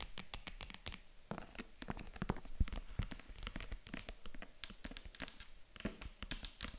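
Long acrylic nails rapidly tap and scratch the padded top of a small, hollow, white faux-leather zippered jewelry box with stitched seams. The result is a steady stream of quick, dry clicks with bright, sharp edges over soft scratchy rustling, each tap dying out almost instantly.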